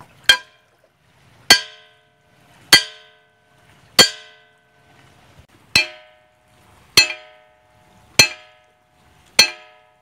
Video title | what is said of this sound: Praia Pedra do Sino - Pedras que cantam em Ilhabela SP Emitem som de SINO. | elas emitem som de sino bem diferente